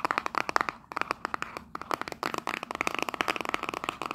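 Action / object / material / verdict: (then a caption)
tap / small printed cardboard box / cardboard / none. Long nails rapidly tap and scratch the faces and edges of a small, hollow printed cardboard souvenir box held in both hands. About 25 quick, dry, papery clicks ring around 1.2 kHz with bright scratchy texture. Each one dies almost instantly, with a brief pause near the middle.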